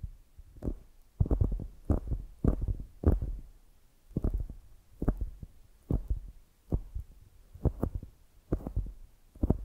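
Long grey nails scratch and tap the top and sides of a palm-sized solid polyurethane foam squishy donut. The result is a series of soft, muffled, deep thuds in uneven clusters, with faint bright ticks on each contact and quiet scratchy rustling between them.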